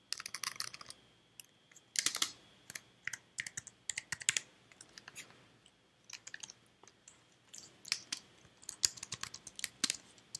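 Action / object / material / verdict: tap / plastic computer keyboard / plastic / none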